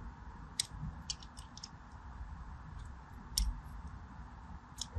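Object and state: Bar soap scratched with a blade.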